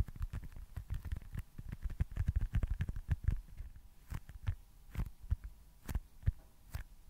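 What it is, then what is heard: Foam stress ball. Fingertips tap and lightly scratch a small, solid white foam baseball stress ball close to the mic. The result is a steady, uneven patter of soft, dull, low thumps with almost no ring, dense at first and then spacing out into scattered taps.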